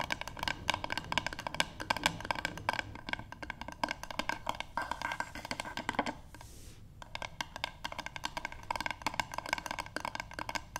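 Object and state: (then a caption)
Wooden board. Long nails on both hands tap rapidly on a light, solid wooden paddle board, making a dense stream of short, dry, bright clicks with almost no ring. The tapping eases into a brief softer stretch around the middle of the clip, then picks up again at the same quick pace.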